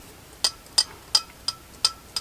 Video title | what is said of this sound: 2004 Polaris Trail Boss 330. Will it run. Can it be saved. #polaris #willitrun #polarisAtv | you can hear the float going up and down